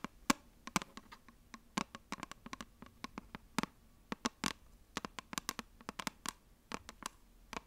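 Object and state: Cardboard eyeshadow palette.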